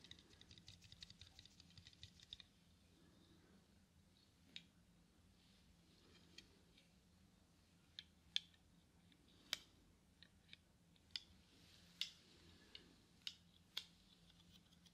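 Fingertips fold and tap the hinges and temples of black plastic-framed eyeglasses held near the microphone. A quick flurry of small, bright clicks over the first two seconds gives way to sharper, well-spaced clicks. Each click is crisp and dies away almost instantly over a faint, steady low hum.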